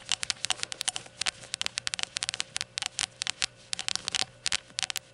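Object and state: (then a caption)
Glazed ceramic shot glass tapped with fingernails. Long nails tap around the rim and body of a small, hollow, empty rainbow glazed ceramic shot glass lying on its side with its open rim facing forward. About two dozen quick, irregular clicks are heard, each a bright, dry tick centered near 3 kHz that dies away almost instantly, over a faint steady hum.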